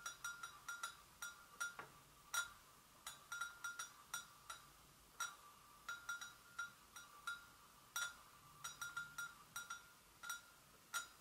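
Long nail tips tap lightly and rapidly on the outer sides of an empty white porcelain gravy boat, making about thirty quick, soft ticks in irregular clusters. Each tick has a short, bright ring around 1.4 kHz with high overtones and fades almost at once, leaving a faint hiss between taps.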